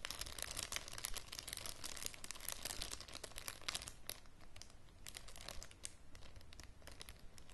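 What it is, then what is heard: Clear plastic bag being crinkled. A clear, thin plastic zip bag with a small object inside is held up close and crinkled by fingers and nails, giving dense, bright crackles and crunchy rustling over a low steady rumble. The crinkling is busiest and loudest for the first few seconds, then thins into softer, scattered crackles.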